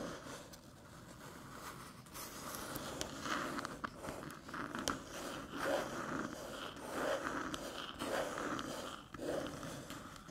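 Long metallic nails tap and scratch the top and edge of a small, flat, hollow aluminium USB-C hub resting on a dark table. Soft, uneven clicks and raspy scrapes come in loose bursts over a steady low hiss, each tap short with almost no ring.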